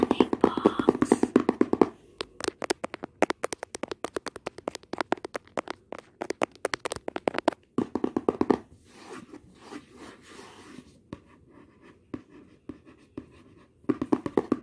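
Long nails tap rapidly on the lid of a hollow, white printed cardboard retail box for OPPO earbuds, producing crisp, dry, mid-pitched clicks with a light papery body. Fast bursts of tapping alternate with sparser, softer taps and a brief stretch of quieter scratchy contact, before a quick flurry of taps returns at the end.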